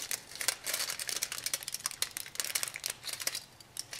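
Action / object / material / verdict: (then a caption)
scrape / thin aluminum foil sheet / aluminum / none. A small sheet of thin aluminum foil, held in both hands, is crumpled and crinkled into folds by the fingertips. It makes a dense, continuous run of sharp, bright crackles and crinkles with almost no low end, rising and falling in loudness as the foil folds.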